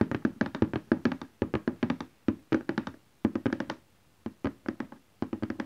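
Fingertips and nails of both hands tap on a large cardboard printer box lying flat. Quick bursts of short, dry, hollow taps with a low-mid body around 230 Hz are separated by brief pauses. Each tap dies away almost at once.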